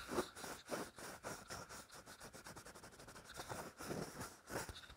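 A small, hollow purple plastic goblet-shaped cup with a short stem is held in both hands while fingertips and short nails tap and scratch its surface. Quiet, dry tapping and scratching repeats in an irregular rhythm of roughly two a second, each tap giving a brief hollow knock around 370 Hz over a steady bright scratchy hiss.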